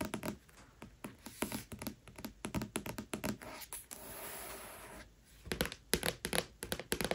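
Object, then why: Cardboard hardcover book cover. Long nails tap and scratch the floral printed cardboard board cover of a hardcover book with no jacket. Quick, dry, short-ringing taps come in rapid bursts, broken midway by a steady, brighter scratching stroke across the board before the tapping resumes.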